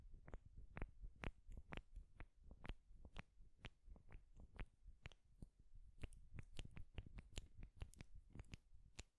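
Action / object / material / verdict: tap / pair of wooden clothes pins / wood / none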